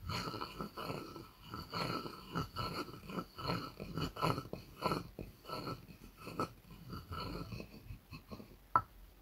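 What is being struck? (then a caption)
Wooden mortar and pestle. A wooden pestle rubs and knocks inside a light, hollow wooden mortar, giving a steady run of soft, dull wooden taps and scraping strokes. Near the end, a sharper, brighter knock stands out.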